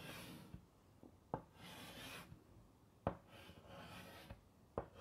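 White chalk held in the fingertips scratches across a large flat black chalkboard in a wooden frame, writing "Peace" and then underlining it. Soft, raspy bursts of bright scratching alternate with pauses, punctuated by three sharp taps of the chalk against the board.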